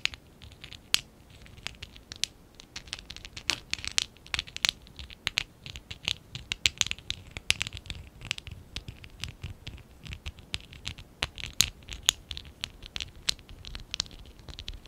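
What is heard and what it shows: Fingertips and short nails scratch and rub a small stack of small, hollow pink and dark blue ABS plastic Lego bricks from a Lego Classic 11017 set, held in both hands. The result is a quiet, irregular run of sharp, bright clicks and scratchy ticks that stop instantly with no ring, over a faint rustling bed.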